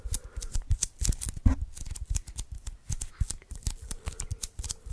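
Fingertips and nails rapidly tap and press the sticky surface of an adhesive paper lint roller refill, a small hollow cylindrical roll of white sticky paper held in the hands away from the microphone. The result is a close, quiet series of short sticky taps and peeling crackles, each with a dull low thump and a bright click that stops almost at once.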